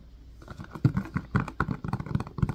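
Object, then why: Silicone ice cube tray in a plastic frame. Fingertips tap and press the hollow domed cells of an empty, hand-sized blue silicone ice cube tray set in a white hard-plastic frame. After a quiet start, a quick, uneven series of soft, dull, low thumps and muffled pops follows, each dying away at once with no ring.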